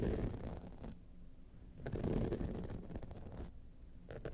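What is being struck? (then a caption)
Rhinestone-studded clutch wallet. Long nails scratch across the top of the face and along the sides of a gold rhinestone-studded clutch wallet. The result is soft, gritty scraping in bursts, mostly low with brief bright rasps, with quieter pauses between strokes.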